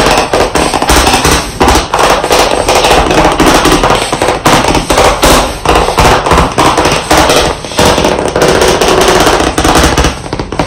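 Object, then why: Chalkboard panel in a wooden frame, tapped with chalk sticks. Rapid two-handed tapping with white chalk sticks on a solid, medium, flat black chalkboard panel in a wooden frame. It produces a dense, fast stream of sharp, bright clicks and knocks that crackle almost continuously at a steady, loud level, with only brief dips between bursts.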